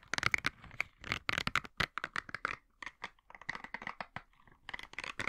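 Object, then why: Silicone bristle scrubber. Fingertips scratch and flick the nubs of a green silicone bristle scrubber while the pad is flexed in the hands. The result is a run of quick, dry scratching and crinkly ticking bursts, bright and thin, with short pauses between clusters and almost no ring after each touch.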